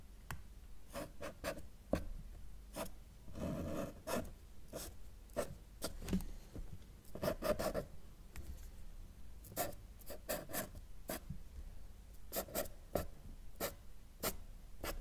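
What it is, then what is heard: Marker drawing on paper. A felt-tip marker held in the right hand draws short strokes and lines on a thin, solid flat sheet of white drawing paper lying on a table, while the left fingertips hold the sheet in place. The tip makes soft, dry scratching and rubbing sounds in quick, short bursts, with a few longer drawn-out lines. The strokes are quiet, with little high brightness and no lingering ring.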